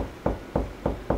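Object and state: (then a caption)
Drywall over a stud, solid. Four knocks on drywall over a wood stud, each a short, dull thud with its body around 500 Hz that dies away quickly. The knocks give a higher, solid pitch, which marks a stud behind the wall.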